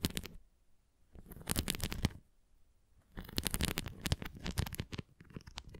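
Long nails scratch and tap the rim and nubbed surface of a red translucent plastic flying ring toy tilted flat. Bursts of dry, bright scratching and quick tapping alternate with near-silent pauses, each hit dying out almost instantly.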